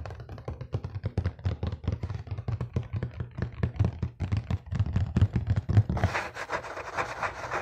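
Both hands tap and rub the printed face of a flat brown corrugated cardboard ring-light box, held upright and apparently empty, using fingertips and nails. A rapid stream of short, dull, low thuds with scratchy edges runs for about six seconds, then shifts into a brighter, continuous scraping rub of nails across the cardboard.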